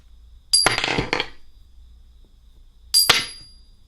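A silver coin is dropped twice in a ring test, each drop giving a bright metallic clink that bounces and rattles briefly, with a high, thin ringing tone that fades quickly. The clear ring marks it as a real silver coin.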